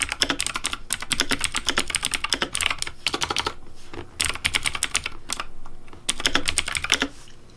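Fingertips type rapidly on the plastic keycaps of a pink Razer Deathadder V3 Pink mechanical keyboard with blue backlight. Bursts of bright, sharp clacks with short, dry decays run together, separated by brief lulls and a softer, quieter stretch near the end.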